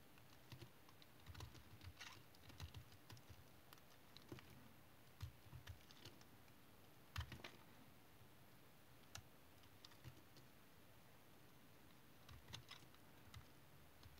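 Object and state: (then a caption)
Tar soap bar being shaved with a knife. A small-bladed knife repeatedly shaves the surface of an oval, solid, dark brown tar soap bar held in the hand. The fast scraping cuts make quiet, dry, clicky taps with a low thud underneath, spread in irregular bursts with pauses between them.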